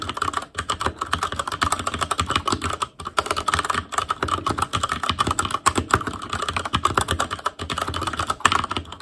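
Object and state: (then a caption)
Plastic mechanical keyboard being typed on. Fingertips of both hands type rapidly on a full-size ASUS ROG Claymore Core mechanical keyboard with plastic keycaps on Cherry MX Red switches, a metal plate, a hollow case and RGB backlight. A dense, steady stream of short, dry plastic clacks centers around 1.1 kHz, with brief pauses between bursts.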